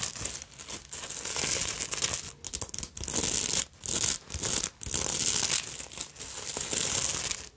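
Long nails scratch rapidly across the beads, sequins and pointed bead fringe on the front of a black beaded fabric purse. Bright, dense rustling and crinkling come in bursts broken by short silent gaps.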